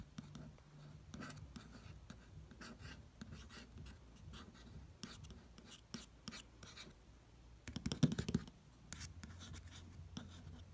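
Soft, dry fingertip strokes whisper across a slick paper cover, with a faint low hum underneath.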